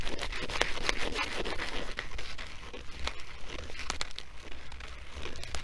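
Fingers and nails crinkle and scratch across a filled blue nylon sandbag with black woven trim. The result is a steady, close crinkling hiss dotted with sharp, bright scratchy ticks, over a soft low rumble that swells and eases throughout.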